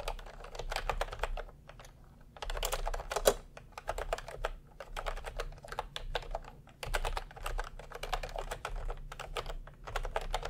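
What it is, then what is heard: Plastic round-key keyboard being typed on. A plastic retro round-key keyboard resting on white cloth is typed on with the fingertips of both hands. It produces a steady stream of quick, light clacks with a couple of short pauses and one sharper, louder strike near the middle, over a low background hum.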